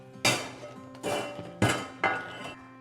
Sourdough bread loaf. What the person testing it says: when you knock it on the bottom and it sounds hollow, it's ready